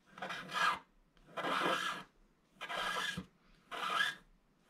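A wooden stylus, held at a low angle, scrapes the black wax coating off the gold foil paper of a flat scratch-art card held in one hand, moving in back-and-forth strokes. Four separate bursts of dry, bright rasping are heard, each with short quiet gaps between them.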